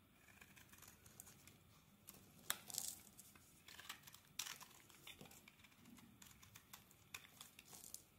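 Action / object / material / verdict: scrape / bar of soap / soap / none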